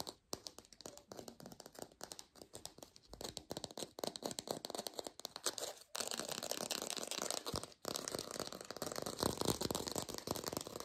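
A textured artificial plastic orange is fast-tapped in a lo-fi recording. It gives rapid, irregular, dry clicky taps with a bright, crinkly rattle and no ring. The tapping grows denser and louder after about six seconds, with a brief pause near the eight-second mark.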